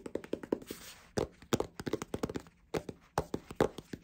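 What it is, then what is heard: Hardcover cookbook cover. Fingertips and short painted nails tap and rub the glossy cardboard cover of a large, solid hardcover cookbook, "The Happy Pear," held up in the air. A quick, uneven run of dry, hollow taps with almost no ring is briefly interrupted near the one-second mark by a soft scratchy rub.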